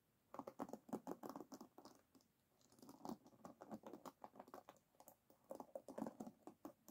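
Long nails and fingertips scratch and tap across the wooden pins of an oval bamboo paddle hairbrush, set in a black rubber cushion, as it lies flat on a table. Quick, soft, dry wooden clicks and scratchy patters come in three bursts separated by brief quiet pauses, each click dying away almost instantly.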